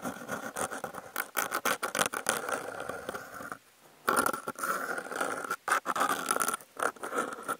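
Fingers holding wooden toothpicks scratch the surface of a brown corrugated cardboard panel with a cut-out hole, picked up by contact mics clipped to its edge. Rapid, dry scratching strokes come in choppy bursts with a raspy midrange edge around 1.4 kHz, broken by a brief near-silent pause before the scratching resumes.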